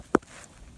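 The lid of an old metal flask, buried under a boulder at an old house site and rusted out at the back, is tapped where it lies in the ground. A sharp, short tap rings briefly with a hollow tone, followed by a second tap at the very end. The flask sounds hollow.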